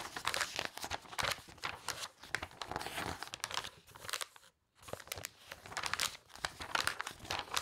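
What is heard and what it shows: The pages of a thick, glossy paper toy catalog are fanned and flipped rapidly by a hand with long nails, making a bright, crinkly paper flutter in quick bursts. The flapping stops for a brief silent gap about halfway through, then resumes at the same brisk pace.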